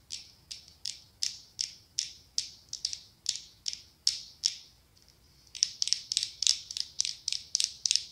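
Long acrylic nails tap and scratch the ribbed glass body of a medium pumpkin-shaped glass candle jar filled with orange wax. About 24 sharp, bright clicks sound, evenly spaced at first, then after a short pause coming faster in a quick flurry. Each click is crisp and dies away almost at once.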